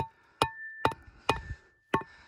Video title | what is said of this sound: Desert Prospecting - locating Gold Deposits - Metal Detecting | see how that got soft? See how that changed? That's hard there. That's soft there.